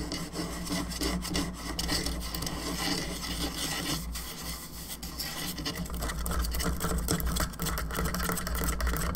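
Long nails scratch the top of a hollow plastic skull candelabra lamp's cranium around its central socket. The result is a steady, rapid rasping scrape with bright, dry texture over a constant low hum.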